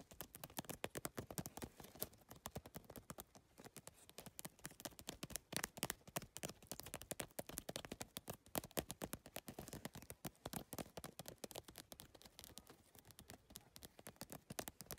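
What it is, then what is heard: PVC-tile handbag tapped with nails. Long nails tap rapidly across the rigid plastic triangular tiles of a hollow, holographic geometric PVC-tile handbag. The result is a dense, continuous stream of quick, sharp clicks that are bright and dry, with almost no ring, over a faint thin body.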